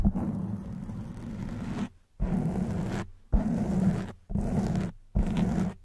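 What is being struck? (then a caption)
Foam microphone windscreen. Long white acrylic nails scratch the black foam windscreen on a silver microphone with both hands. This produces five bursts of dense, muffled rumbling scratching, heavy in the low end with a steady buzz near 200 Hz, separated by short silent gaps.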